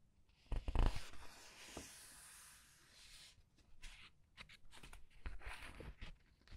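Fingers flip and rub several glossy paper pages of a large art book. A few sharp papery snaps open the clip, followed by a long, bright, hissing slide of the pages. It ends with a loose run of quieter crinkles and flicks.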